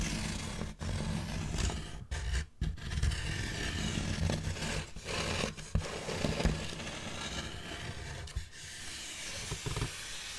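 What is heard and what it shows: Long black fingernails on both hands scratch a large, solid styrofoam packaging block held horizontally in front of the microphone. The result is a continuous, dense, scratchy rasp with squeaky, bright edges over a heavy low rumble, broken by a few brief pauses and sharper scrapes.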